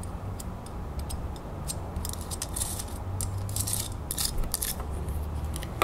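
Long fingernails rapidly tap and scratch along the raised beaded ridges of a small, solid, brass-colored metal crown ornament held in the fingers. Quick, bright clicks and scraping ticks come in uneven bursts over a steady low rumble.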